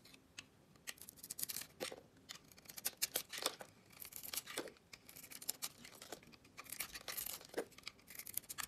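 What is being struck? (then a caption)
Bar of soap scraped with a metal blade. A metal box-cutter blade carves and scrapes the glossy pink coating off a solid oval bar of soap with a white interior, held in hand, lifting it away in curls. The result is a quiet, steady run of crisp, bright scraping and crackling, with short sharp snaps of the blade cutting through the coating.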